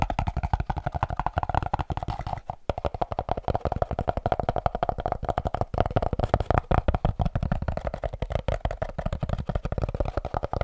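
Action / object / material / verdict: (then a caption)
tap / molded cardboard packaging insert / cardboard / none. A hollow, shaped piece of white molded cardboard packaging is held in the hands and tapped and scratched with the fingertips and nails. The result is a fast, continuous run of short, dull taps with quick scratchy strokes and a low, thudding body. There is a brief pause near the three-second mark.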